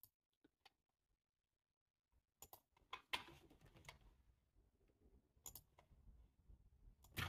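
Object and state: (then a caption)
Plastic computer keyboard being typed on. Fingertips type fast with both hands on a black, low-profile plastic computer keyboard with a hollow body, heard up close. A few sparse, quiet key taps open the clip, then a denser run of sharp, bright clicks follows. The clicks decay quickly over a soft, low, hollow-sounding thud.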